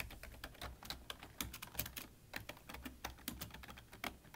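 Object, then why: Plastic computer keyboard. Both hands type with their fingertips on a full-size black plastic computer keyboard with a hollow body. The result is a quick, irregular stream of short, dry key taps with bright clicky tops and a soft, hollow low thump beneath. Each tap dies away almost instantly.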